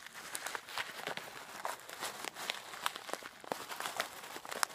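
A clear plastic zip-lock bag of coarse bath salt is held up and shaken while long black nails press on the bag. The result is a steady bright crinkling and granular rattling, broken by many short, sharp crackles and clicks, with almost no low end.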